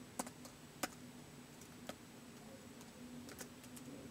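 Fingertips type slowly on a white plastic laptop keyboard, making short, sharp, dry key clicks with bright tops, spaced irregularly with pauses between them. A faint, steady low hum runs quietly underneath.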